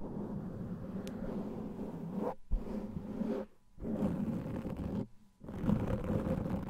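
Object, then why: Foam microphone windscreen. Fingertips and nails of both hands scratch a large black foam microphone windscreen. The result is a dense, muffled, low rumbling scratch with a few short silent pauses.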